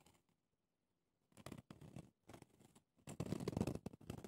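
Red-polished fingernails scratch the rough round pumice stone top and the clear ridged plastic sides of a small hand-held foot brush with bristles. After a near-silent pause, short bursts of dry, gritty rasping start and stop, growing denser and louder toward the end with a bright, scratchy texture.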